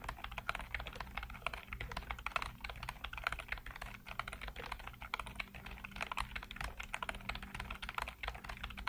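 Fingertips rapidly tap and type on a full-size black plastic computer keyboard with hollow keycaps. A fast, continuous stream of short, dry plastic clicks with a bright clatter lasts throughout, over a faint steady low hum.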